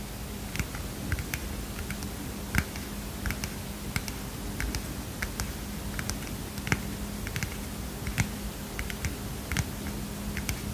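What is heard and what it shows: A small heart-shaped paper mini notepad is held in one hand and tapped with the fingernails of the other. The result is a run of quick, irregular, crisp taps with brief bright clicks that die away almost instantly, over a faint steady low hum.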